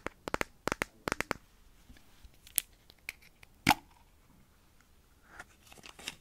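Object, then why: Small plastic jar with lid. Long nails tap and scratch a small hollow plastic petroleum jelly jar with a blue lid and its contents visible inside, close to the mic. A quick run of sharp, dry clicking taps gives way to sparser, louder knocks and soft scratchy rustling on the plastic jar and lid.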